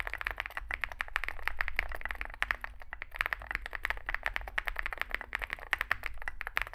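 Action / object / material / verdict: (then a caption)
tap / mechanical keyboard with plastic keycaps and metal case / plastic, metal / none. A Zoom65 65% mechanical keyboard with a metal case and grey and white SA-profile plastic keycaps, resting on a desk mat, is typed on with the fingertips of two hands. A rapid, uneven stream of short, dry clacks centers around 1.9 kHz with bright tops. A steady low hum sits beneath, and each keystroke stops almost instantly.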